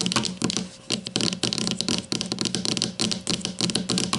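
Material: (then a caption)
Plastic. Long nails on both hands tap rapidly on the plastic cap of a grey plastic deodorant stick lying with its cap end forward. The taps are sharp, bright clicks with a faint hollow plastic tone, coming in quick bursts with short pauses between them, and each one dies away almost at once.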